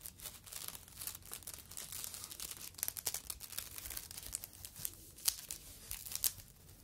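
A yellow foam fruit protective net, a mesh sleeve, is stretched open and squeezed with both hands. It makes quiet, bright crinkling and tearing-like rustles, with dense crackles and a few sharper snaps near the end.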